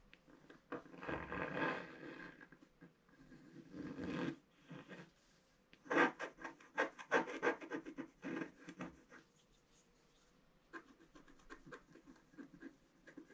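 A thin wooden stylus scratches in strokes across a flat black sheet of wax-coated scratch art paper in a book, with the other hand resting flat on the page. Dry, raspy scraping comes in bursts: longer rubbing strokes at first, then a run of short, quick, brighter strokes in the middle, fading to lighter scratches at the end.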